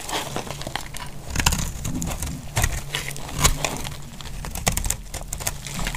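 A utility-knife blade shaves curls from a carved, solid bar of dry pink soap held in the hand. Rapid, dry crackling scrapes and crisp crinkles repeat through the clip, with sharp bright clicks over a steady low rumble.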